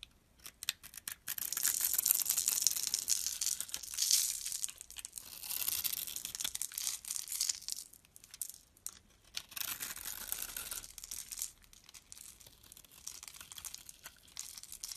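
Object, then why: Bar of soap cut with a metal blade. A metal blade cuts and scrapes into a solid, elongated, hand-held green bar of soap with a grid-scored surface, crumbling off small cubes. The result is dense bursts of crisp, bright crackling and scraping, almost entirely high-pitched with no low end, swelling and fading irregularly throughout.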